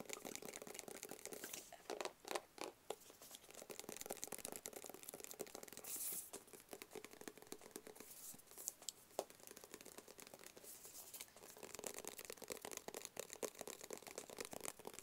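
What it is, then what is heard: Small cardboard box. Fingertips tap rapidly on a small, flat, black, rigid cardboard box that is hollow and closed. The result is a quiet, dense, papery pattering with crisp, bright clicks, a faint hollow tone in the mid range, and almost no low end. Each tap dies away almost instantly, with occasional louder, sharper taps standing out.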